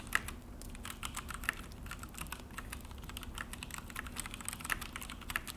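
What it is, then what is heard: Plastic mechanical keyboard being typed on. Both hands type with their fingertips on a full-size Akko mechanical keyboard on a desk; it has an orange plastic case and black plastic HyperX keycaps. A steady run of short, crisp plastic key clicks centers around 1.7 kHz, with a few louder presses, over a low background rumble.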